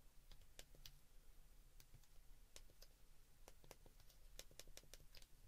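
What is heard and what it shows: Fingertips press the keypad buttons of a white plastic flip phone held open, making a quick, irregular run of small, crisp plastic clicks. The clicks are quiet and bright, with very short decay, over a steady low background hum.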